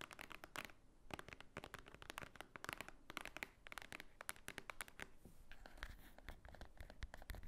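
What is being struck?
Thick paper book.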